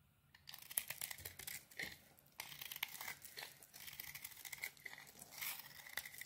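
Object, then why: Bar of soap scraped with a small metal blade. A small metal blade peels the yellow rind off a solid yellow bar of soap and scrapes its white core into crumbly flakes. The sound is a quiet, bright, dry scraping and crackling that comes in dense bursts with brief pauses between strokes.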